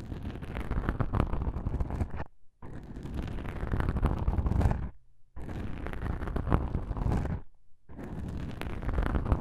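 Black foam microphone windscreens pressed together are rubbed and scratched by one fingertip with a long nail, making a deep, muffled rumbling scrape against the soft porous foam. The rubbing comes in four long stretches separated by three brief silent pauses.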